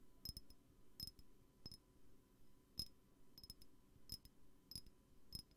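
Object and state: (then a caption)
Glass perfume bottle. Light fingertip-style taps on a glass perfume bottle, arriving in irregular, sometimes doubled clusters. Each tap is a short, bright clink with a high ringing tone that dies away almost at once, over a soft low background hiss.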